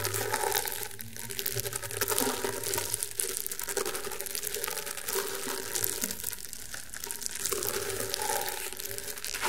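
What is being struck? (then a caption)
Woven rattan round mat. Fingertips and short nails scratch and rub the fibres of a flat, round woven rattan table mat. The result is a steady, dense, bright crackling and scraping texture that swells and eases in gentle waves, with a faint low hum underneath.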